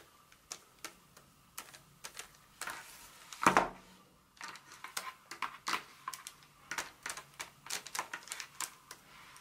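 A solid Hershey's milk chocolate bar in its paper wrapper is held in hand and then laid on a textured mat while long acrylic nails tap and scratch it. The result is a steady run of short, dry, clicky taps with a papery edge, each dying away almost at once. A louder, rougher scratching burst comes about a third of the way through.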